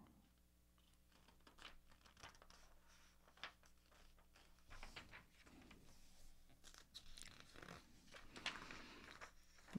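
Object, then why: Glossy paper magazine. An open vintage travel magazine with thin glossy paper pages is held in both hands over a dark table, and its pages are rubbed and flipped with the fingertips. Soft, irregular crinkles, papery scratches and brief bright rustling bursts rise and fall over a faint steady low hum.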